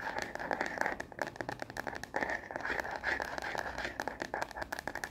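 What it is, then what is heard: Plastic phone case tapped and scratched. Long fingernails rapidly tap and scratch a frosted plastic star-print case on a smartphone held upright, a solid hand-sized object. Crisp, dry clicks mix with scratchy, crinkly rasps in a steady, fast stream. The sound sits in the mids with little low end, and each tap dies away quickly.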